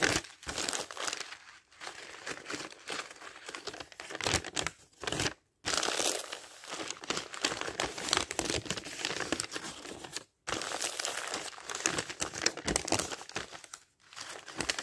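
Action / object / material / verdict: scrape / thin paper dictionary pages / paper / none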